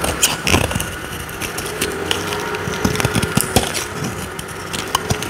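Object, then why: Soap bar cut with a small metal blade. A solid, dry, oval purple soap bar held in the hand is carved with a small metal blade into dry shavings. Crisp scraping and crackling cuts with sharp, bright clicks ride over a steady, grainy hiss as the shavings come away.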